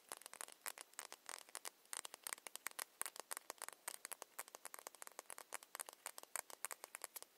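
A small ceramic foundation bottle with a plastic cap, held in the hands, is tapped rapidly with long nails. The result is a fast, uneven patter of crisp, bright clicks that stop almost instantly, with no low-end body and a quiet overall level.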